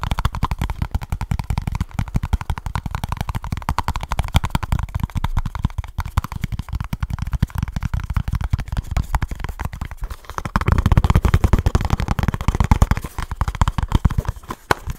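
Fingertips and nails rapidly tap and scratch the sides of a small kraft cardboard product box held close to the mic. The result is a dense, fast stream of short, dry, deep thumps with soft scratchy texture. The tapping grows louder and fuller from about 10.5 seconds before easing off near the end.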